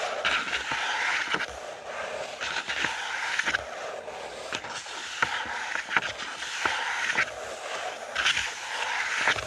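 Fingertips scratch and rub the pages of an open lined paper notebook lying flat on a wooden table. A steady, bright, papery rustle fills the clip, with a midrange scratch tone and occasional sharp ticks from the fingertips catching the page.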